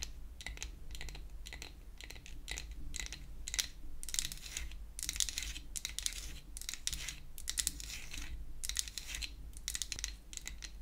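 A pink-painted wooden toy hair dryer, a solid flat piece of wood held upright, is tapped with long acrylic nail tips. The result is a rapid, irregular run of short, dry, bright clicks and taps that come in clustered bursts over a low steady hum.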